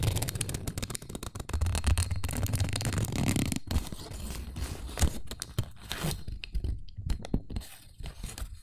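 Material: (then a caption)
Paper. A small, thin, pleated white paper cupcake liner, flattened and hollow, is held in both hands while the fingertips bend and crinkle it close to the microphone. The result is a dense run of soft, crackling crinkles over a heavy low rumble, with quieter, sparser crackles toward the end.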